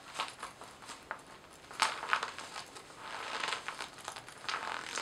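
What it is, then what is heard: Laminated vinyl-coated fabric cosmetic pouch. A small, glossy paisley zippered cosmetic pouch made of laminated vinyl-coated fabric is hollow inside. It is turned in the hands, scratched with long nails and squeezed. It gives off quiet, irregular crinkling and scratching with short, bright clicks and rustles that center around the midrange.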